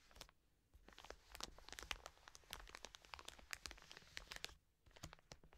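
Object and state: Plastic wet wipes packet.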